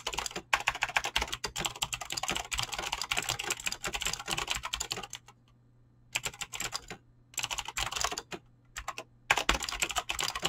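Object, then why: Mechanical keyboard with clicky switches and PBT plastic keycaps. Fingertips type fast on a Razer BlackWidow mechanical keyboard with clicky green switches and pink-blue dyed PBT plastic keycaps. Dense runs of sharp, bright clicks come in bursts, separated by short pauses around the middle and near the end. A faint low hum sits underneath.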